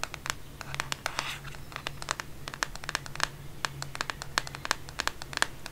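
Long painted fingernails tap and scratch rapidly across the plastic back or case of a black smartphone held in one hand in bed. The result is a dense run of dry, sharp clicks with bright ticking and a faint scratchy hiss, over a steady low hum.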